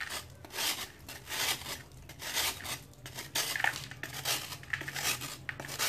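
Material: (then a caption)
Sand-cement. A metal knife shaves a hand-held, solid piece of dried sand-cement over water, making repeated bright, rasping scrapes in short bursts. Fine powder falls away with a soft hiss between strokes, and a few faint clinks stand out.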